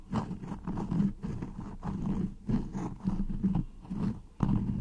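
Long nails scratch and pinch a floral cotton beeswax wrap stretched over a microphone. The result is a series of close, muffled, low rustling and scraping bursts with short pauses between them, heavy in the low end and with almost no bright top.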